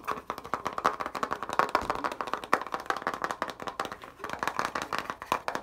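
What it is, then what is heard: Plastic makeup palette. Fingertips and nails tap and scratch a small white plastic eyeshadow palette with six glitter pans, touching both the case and the pans. The result is a fast, dense run of sharp, dry clicks and scrapes centered in the midrange around 1.1 kHz, with almost no low end and very short decay.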